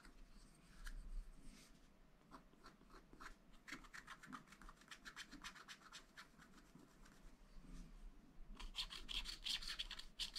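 A wooden stylus rubs and hatches the black coating off a sheet of scratch-art paper from a pad. Dry, bright scratchy strokes come in quick, uneven bursts of rasping hatching with a faint low rumble underneath, growing denser and louder toward the end.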